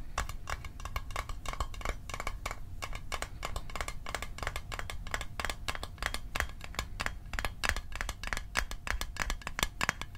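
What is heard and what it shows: A small, hollow, closed rectangular Altoids Arctic mint tin made of metal is held in the hands and tapped quickly with fingertips and fingernails. The result is a dense, steady stream of short, dry clicks and light tinny taps with a faint metallic ring around 1.1 kHz and bright edges, over a soft low rumble.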